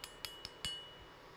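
A solid silver statue is given a ping test: four distinct light taps produce bright, high clinks, the last ringing slightly longer with a clear tone near 2.9 kHz. The ringing tone is consistent with solid silver.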